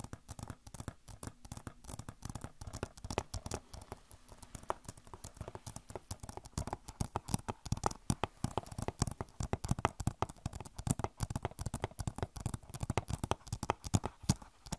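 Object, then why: Plastic game case. A hollow plastic Overwatch game case is tapped and scratched with long nails, giving a dense run of quick, dry clicks and scrapes. The taps are short with almost no ring and carry mostly low, thumpy body, with faint scratchy texture above.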